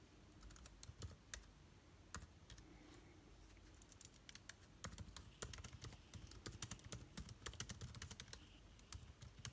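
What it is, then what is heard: Laptop keyboard being typed on. Fingertips type on an aluminium laptop keyboard with plastic keycaps. Quick, quiet key taps carry bright clicks over soft low thuds, starting sparse and growing into a denser, busier patter in the second half.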